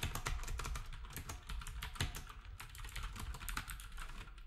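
Fingertips of both hands type steadily on a black, retro typewriter-style plastic keyboard with round plastic keycaps. The result is a quick, continuous run of short, dry key taps, each with a low, thumpy body and a bright click on top, dying away almost at once.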